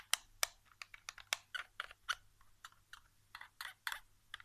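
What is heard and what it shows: Fingertips tap and drum on the back casing and triggers of a white plastic PS4 controller lying face down on carpet, its hollow shell answering each touch. Quiet, dry, bright clicking taps come in an uneven, rapid patter with almost no ring, much like typing on a keyboard.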